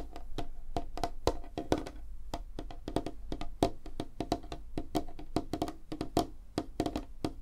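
Long fingernails tap rapidly on a large, flat, solid light-wood tabletop, including single-finger nail taps. The result is a quick, uneven stream of short, dry clicks, each with a woody knock and almost no ring, over a faint low rumble.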